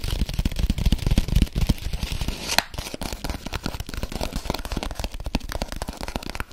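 Long acrylic nails rapidly tap and scratch the surface of a flat brown kraft paper packaging sleeve with orange zigzag stitching, held up close. The result is a dense, irregular stream of dry, papery taps and scrapes with soft low thuds, and one sharper crisp click partway through.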